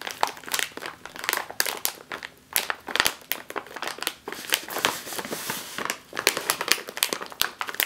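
A sealed, metallized foil snack chip bag is squeezed and crinkled with the fingers and nails. It makes a dense run of sharp, bright crackles and crinkles with no low rumble, each snap dying away almost at once.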